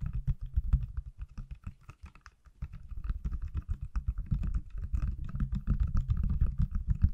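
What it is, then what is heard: Silicone phone case tapped. A hand-sized, solid pale green silicone/plastic case on an iPhone is held in one hand and tapped on the back with fingertips and nails. The result is a rapid, uneven stream of dull, low, muffled taps with very short decay, plus faint light clicks above, getting slightly louder and denser toward the end.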